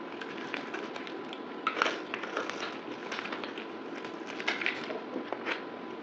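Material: Soap.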